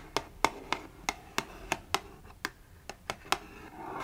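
Long nails tap eleven times at an uneven pace on the printed front panel of a small, closed cardboard Fitbit Versa 3 box held in the hand. Each tap is a sharp, dry click centered around 900 Hz with bright edges and almost no ring. Faint scratching runs between the taps, and a soft, rising scratchy rustle fills the last half second.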